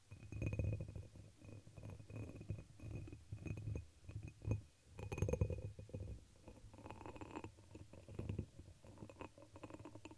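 Long pink nails tap and scratch a hollow, dark red embossed pressed-glass chalice held over the microphone. The result is a steady stream of soft, muffled, low-pitched knocks and rubbing scrapes with a faint bright glassy tick.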